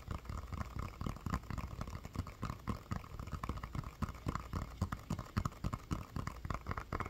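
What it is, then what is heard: Inflated rubber playground ball. A medium hollow inflated rubber playground ball with a SpongeBob print is held in one hand and tapped and scratched with the fingertips and nails of the other. Quiet, rapid, irregular taps produce dull, low thumps that die away instantly, with faint scratchy noise between them. A steady mid-range tone sits underneath throughout.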